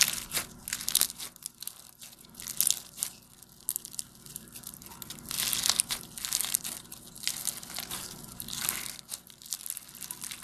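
Light blue foam bead slime (floam), a soft, solid mass densely filled with small polystyrene foam beads, is kneaded, pressed and folded with fingertips and thumbs. It gives off dense, bright crunchy crackles and crinkles in irregular bursts, with very little low end.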